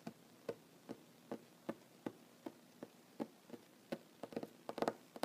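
Short fingernails of one hand tap rapidly on a large, solid wooden tabletop. Dry, short clicks with almost no ring come at a loose, uneven pace, then bunch into quicker clusters toward the end.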